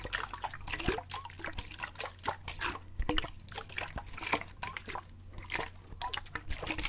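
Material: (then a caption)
Plastic. A clear plastic water bottle with a gray cap, partly filled with water, is shaken and turned in the hands so the water splashes inside. Quick wet sloshes and drips overlap in a busy, bright stream over a steady low hum.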